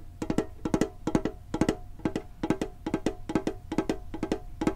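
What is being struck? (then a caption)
Small printed metal tin. Fingertips tap the lid and side of a hollow, hand-sized printed metal Pokemon card tin held in front of a microphone. The taps come in quick bursts of two or three, giving dull, hollow knocks with a low-mid tone near 316 Hz that die away almost instantly.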